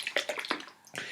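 A bottle of Panola Cajun Jalapeno Sauce, a thin, very runny liquid of vinegar, salt, jalapenos and xanthan gum with virtually no body, is shaken as its label directs. A quick series of bright, splashy sloshes rattles inside the bottle, with no low end, then fades to a brief quieter slosh at the end. The sloshing is the sound of the sauce's thin consistency.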